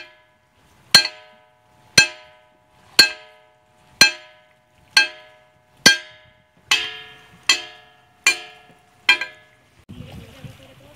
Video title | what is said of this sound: Praia Pedra do Sino - Pedras que cantam em Ilhabela SP Emitem som de SINO. | elas emitem som de sino bem diferente